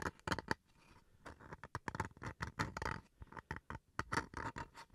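Fingernails scratch the face and edge of a small, flat, solid wooden chopping block. A quick, uneven series of short, dry scratching strokes stands out against quiet pauses, each with a raspy mid-range texture and no ring.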